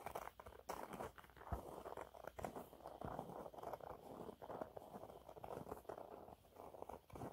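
A yellow waffle-textured cleaning cloth is held upright and scratched quickly and lightly with fingernails. The result is a quiet, dry, continuous patter of fast scratching with a soft crunchy texture centered in the midrange.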